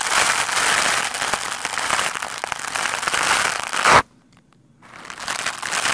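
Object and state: Foam microphone windscreen being brushed.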